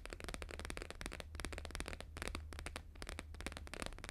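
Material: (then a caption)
Laminated paper. Fingertips and short nails rapidly tap a thin, flat, square laminated paper sheet with a blue-green holographic grid print as it lies on a fur rug. The taps come in a fast, continuous patter of crisp, bright clicks with a faint crackle, over a steady low hum throughout.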